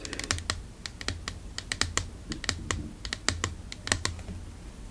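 A tall, medium-sized, hollow white plastic Dermalogica skincare bottle with a dark cap is held in one hand and tapped with long painted nails. The taps are quick, clicky and bright, each dying away almost at once. A low steady hum runs underneath.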